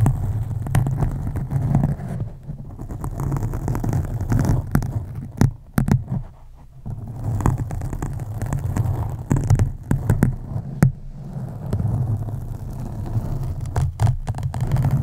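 Slow scratching by both hands with long acrylic nails on a soft, porous black foam windscreen over a USB microphone. The result is a deep, bass-heavy rumble of muffled scraping, broken by brief sharp clicks and a couple of short quieter pauses.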